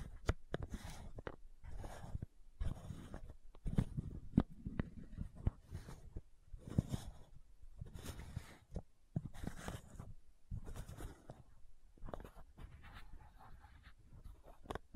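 Long nails scratch the top and ridged edge of a white plastic screw cap on a tilted supplement bottle. Bursts of dry, scraping friction with sharp clicks are heard, mostly low in body with faint high hiss.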